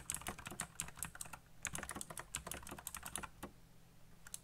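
Fingertips type fast on a colorful backlit mechanical keyboard with black plastic keycaps, producing a rapid, uneven stream of sharp, short clacks with bright high ticks. Each keystroke dies away almost instantly, over a faint steady low hum.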